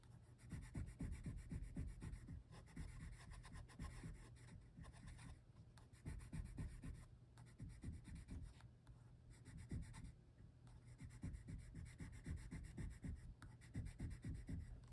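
A hand with long red nails rubs a light green wooden colored pencil across a printed paper coloring book page held flat, shading small leaves. The pencil lead scratches the paper in quick, steady back-and-forth strokes, producing a soft, low rubbing texture that stays continuous with brief pauses.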